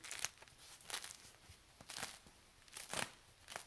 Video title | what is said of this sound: Baking your Sourdough, Final Step | you can hear how crispy that sounds